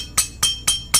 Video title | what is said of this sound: PENYEBAB ENJIN BUNYI KASAR BAHAGIAN BLOK 🔥 | Dia macam seolah-olah bunyi lonceng. Begitulah bunyi blok racing kalau dia ada longgar.